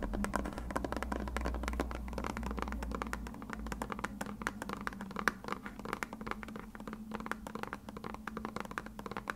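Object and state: Plastic glue bottle.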